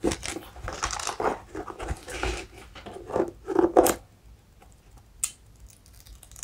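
Fingernails scratch the hollow-lugged black and pink rubber outsole of an empty Skechers hiking boot with a suede and mesh upper, held upside down. Dense bursts of dry, crinkly scraping fill the first four seconds, then it falls quiet except for one sharp scrape near the five-second mark and faint rustles at the end.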